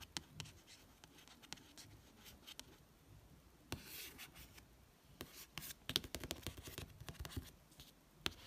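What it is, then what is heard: Paperback book cover. Soft, hissy rubbing mixed with many short, bright ticks, none of them ringing. The papery grain and crisp tick at each edge are what a fingertip gives sliding across the stiff matte card of a paperback cover, in a small quiet room.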